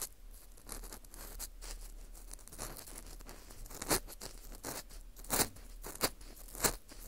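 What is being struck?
Dried wheat gluten (fu) ring scraped with a plastic pick.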